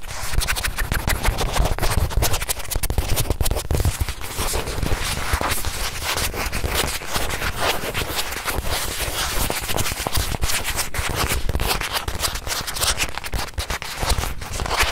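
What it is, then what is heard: Leather watch pillow. A small white leather watch pillow, held sideways, is scratched and tapped on its leather edge and face with fingertips and long nails. The result is a steady stream of rapid, dry scratching and tapping with a low, thumpy body and crisp, bright edges, each touch dying away almost instantly.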